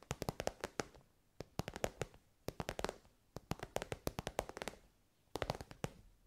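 Long nails tap an elongated, soft glossy pink pencil case covered in shiny synthetic fabric. The sharp, dry clicks come in quick bursts separated by brief pauses, each tap dying away almost instantly. The sound has a muted mid-range body with a crisp, bright edge.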